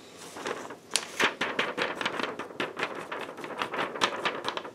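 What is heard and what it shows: A thin yellow paper sheet is pressed and bent by fingertips in black lace gloves, giving a steady run of sharp, bright crinkles and crackles. Soft rubbing fills the gaps between them. Each crease snaps off quickly with almost no low end.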